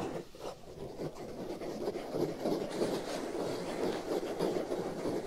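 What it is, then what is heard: Foam microphone windscreen. A black foam windscreen over the right ear of a binaural microphone is scratched and rubbed with fingernails. The result is a continuous, dense, rough scratching sound focused in the low-mid range, with brief surges in a fairly quick rhythm.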